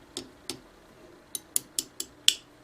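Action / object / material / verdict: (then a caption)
tap / outer crust of a stone object / stone / loose. A supposed fossil foot, a rock, is tapped seven times with a small object, first two slower taps and then five quicker ones. Each tap gives a short, bright click with almost no ring, heard against faint background hiss. The taps reveal a loose outer layer, or "skin," on the foot's surface.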